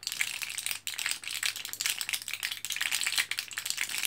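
An orange plastic-and-foil blister card of capsules is held in both hands, foil side shown, while fingertips press it and the capsules rattle inside. The sound is a quiet, continuous high crackling and clicking, almost entirely bright with no low end. It briefly drops out just before the first second, then resumes.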